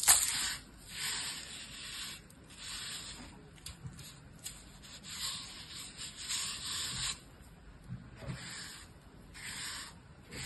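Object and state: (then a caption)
Dry sand scraped in a plastic tub. A hand with long pink nails works an orange plastic shovel through a clear plastic tub full of fine, dry blue-purple sand, scooping, patting and scraping its surface. The result is quiet, gritty, bright hissing swishes in repeated bursts with very little low end.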